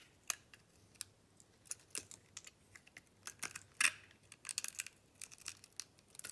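A metal blade peels curled slices off a solid white bar of soap studded with small plastic beads, held in the hand. Quiet, irregular crisp clicks and short scraping crackles are heard, bright and sharp with almost no low end, each snapping off quickly.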